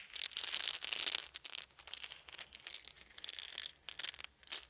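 A handful of small round wooden beads is held in cupped hands, shaken and rolled between the palms and fingertips. The result is a bright, dense rattle of clicks coming in irregular swells and bursts, with no voice heard.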